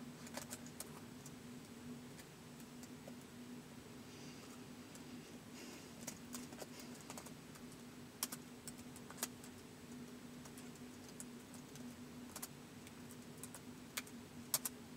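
Fingertips slowly tap the keys of a white polycarbonate plastic laptop keyboard, with the laptop resting on carpet. Sparse, short, bright clicks sound at an unhurried pace over a quiet, steady low hum.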